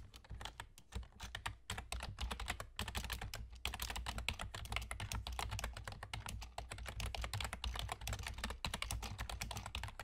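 Fingertips with short nails from both hands type rapidly on a full-size black plastic computer keyboard with German key labels and hollow keys. The result is a dense, continuous stream of short, crisp clacks that reach into the high range, with brief pauses around the 1, 2.7 and 3.6 second marks. A steady low hum runs underneath throughout.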